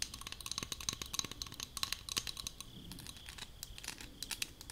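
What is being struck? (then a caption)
Aluminium spray bottle. Long acrylic nails tap and scratch the sides of a hollow, light blue aluminum leave-in spray bottle held in both hands. Quick, bright metallic clicks with a faint high ring come in a rapid, uneven run. Softer scratching fills the gaps, and each tap dies away almost at once.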